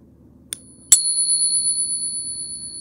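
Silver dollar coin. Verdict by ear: Real.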